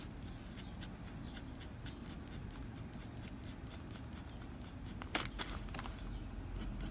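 The graphite tip of a blue mechanical pencil rubs and scratches across a flat white drawing paper sheet in dense shading strokes. A steady, soft scratchy hiss sits over a low background rumble, broken by rhythmic bright bursts from each stroke. A sharper, louder scrape comes near the five-second mark before the shading continues.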